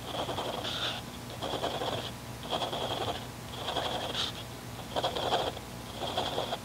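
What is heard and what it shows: A mechanical pencil tip, held by fingertips, scratches dots and short lines across a paper grid notebook page. Soft, gritty scratching comes in a series of short bursts with brief pauses between, carrying a bright, thin squeak over a fuller midrange rasp and a faint low background hum.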